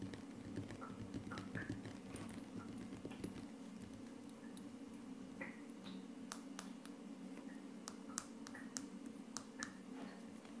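Fingertips and short nails of both hands rapidly tap a flat, solid wood-look laminate tabletop. The quiet, dry, short clicks and taps have bright edges and fade almost instantly, scattered irregularly over a steady low hum.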